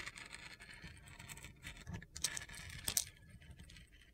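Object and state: Glitter soap bar being scraped.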